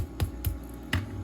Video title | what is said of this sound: Homemade Portuguese Rolls | tap the bread and if it sounds hollow then you know they're done